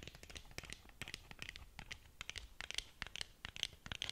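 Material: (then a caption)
Cardboard. Long nails scratch along the sides of a long, narrow, black cardboard lip gloss box that is hollow and closed. The result is a quiet, rapid series of short, dry scratches, bright and hissy, with no lingering ring.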